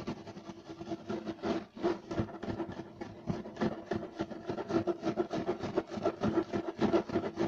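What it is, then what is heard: Woven loop-pile carpet. Both hands scratch rapidly with short nails and fingertips across a flat beige striped woven loop-pile carpet resting on a solid surface. The result is a dense, fast, uneven run of dry, raspy scratches with a faint steady tone in the low-mids underneath. The scratches swell and fade in loudness throughout.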